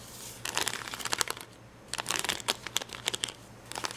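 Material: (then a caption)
Plastic. Fingertips and nails pick and scratch at red and yellow acrylic rhinestones on the clear plastic backing of a plastic rhinestone sticker sheet. Quick, bright crinkly clicks and scratches come in bursts, with a short quiet pause midway, over a faint low hum.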